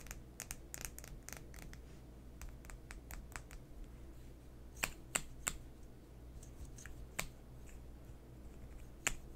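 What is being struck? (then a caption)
Plastic lip gloss tube. Fingernails tap and scratch along a long, slim, coral plastic lip gloss tube with a silver cap band, closed and filled with product, held horizontally in both hands. The result is quiet, irregular, sharp, bright clicks and brief scratches, with a few louder taps standing out over a low, steady background hum.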